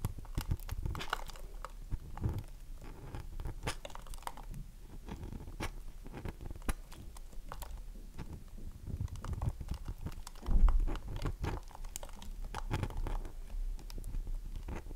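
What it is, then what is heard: Dry bar of soap, scratched. Long nails scratch the edge and face of a solid, oval, dry bar of soap held in the hands, producing a steady stream of crunchy, crackly scraping sounds. The sound is dense with quick dry clicks and has a low, muffled body, with a louder burst of scraping near the end.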